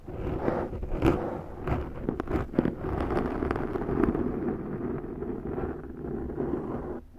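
Long nails scratch a large round black foam windscreen on a Zoom microphone, using one or both hands. The result is a steady, dense, muffled rustle concentrated in the low mids, with sharper scratchy bursts scattered throughout and little high-frequency content, before it fades out at the end.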